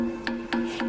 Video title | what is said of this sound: Exploring ancient buildings in Beijing on International Museum Day | it's called metal brick because it's a brick, but it sounds like metal. But it's made of mud.